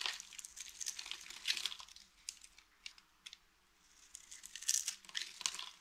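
A small, solid lilac dry soap bar with a textured top is held in the hand while the metal blade of a green utility knife scrapes its surface and shaves off flakes. The result is a quiet, bright, crackly scraping with dense crinkly bursts, a short lull in the middle, then more scraping.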